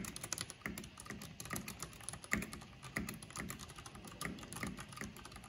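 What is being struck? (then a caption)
Plastic mechanical keyboard. Both hands with long painted nails type fast with their fingertips on a backlit plastic mechanical keyboard with black plastic keycaps. A dense stream of short, sharp key clicks has a bright click on top and a soft low thud beneath, and a few strokes land harder than the rest.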